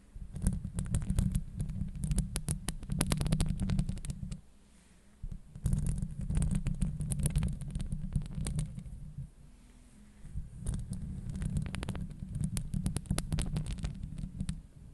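Long acrylic nails scratch and tap the hollow, dome-shaped steel wire-mesh grille of a Blue Yeti microphone. The result is a deep, muffled rumble laced with rapid, crackly clicks and scrapes. It comes in three dense bursts separated by brief, quieter pauses.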